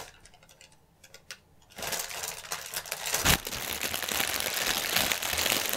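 Fingernails scratch and press the film of a strip of inflated, hollow, air-filled clear polyethylene air cushions lying on a table. A few faint, scattered taps give way to loud, dense, bright crinkling and scratching that continues to the end, with one sharp crackle partway through.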